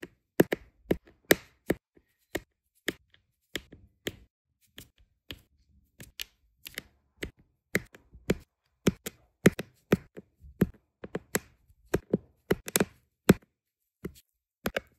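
A metal-tipped pen taps resin diamond painting drills rapidly into place on an adhesive diamond painting canvas. About 33 short, dry, crisp taps ring out one after another at an uneven pace, each a bright click over a soft low thud. Each tap stops almost instantly, with quiet gaps between them.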